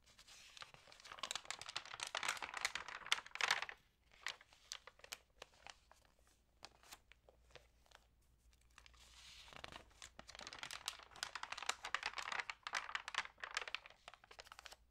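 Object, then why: Glossy paper magazine pages. Long nails and fingertips crinkle and turn the dampened pages of an open glossy lifestyle magazine lying flat on a table. Dense bursts of bright, crisp crinkling fill the first few seconds and the last five. Between them is a quieter stretch of sparse, soft paper ticks.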